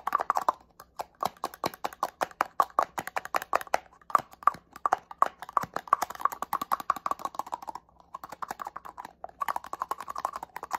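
Fingernails tap rapidly on a small, hollow, black plastic cosmetic setting-spray bottle with a cap. The result is a quick, uneven run of dry, sharp clicks with a hollow mid tone around 1.1 kHz and almost no ring, broken by brief pauses.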